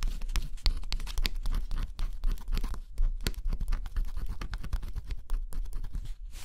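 A stylus scratches the black coating off a flat cardboard scratch-off jigsaw puzzle, revealing blue beneath. Close-up, the sound is a dense run of short, dry scraping and crackling strokes with bright edges over a low rumble, ongoing with no pause.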